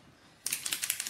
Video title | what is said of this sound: Jen Lewis and Rachael Leeman - Chocolate Shard Cake - Facebook Live 27/11/17 | Shake it until you can hear the ball bearings.